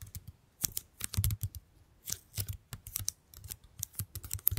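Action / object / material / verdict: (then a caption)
tap / plastic squeeze bottle / plastic / none. A medium pink plastic squeeze bottle with a yellow cap, hollow and partly full, is held up and tapped and scratched with long painted nails. A rapid, uneven series of dry, clicky taps, each with a soft low thump and bright ticking edges that die away almost instantly, is broken up by brief scratchy rasps.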